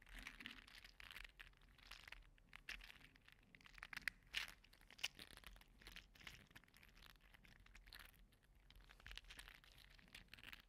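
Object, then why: Small 3D printed plastic segmented slug toy. A small orange-red 3D printed plastic segmented mini slug toy is squeezed and flexed between the fingers, so its segments click and rub against each other. A steady stream of quiet, bright, crinkly clicks and rustling runs throughout, with a few sharper, louder clicks around the middle.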